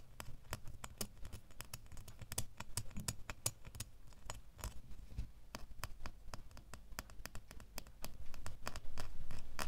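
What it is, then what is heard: Metal door key. A small, solid metal door key held in the fingers is tapped and scratched with fingernails. It makes quick, irregular bright clicks and light scratching over a steady low hum, growing louder near the end.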